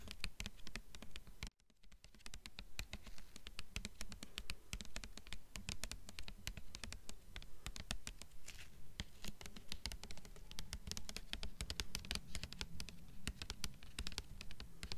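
Long nails tap and scratch the glossy paper dust jacket of a thick, solid blue hardcover copy of *Beautiful Darkness* held up in both hands. A steady, busy patter of quick taps and scrapes runs throughout, with a brief pause near the start.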